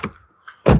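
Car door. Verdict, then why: Solid. The door of a BMW X5 xDrive50e is shut to compare its closing sound: a short low thump and a faint click, then a heavy, dull, bass-rich slam. The closing sounds solid and is judged good.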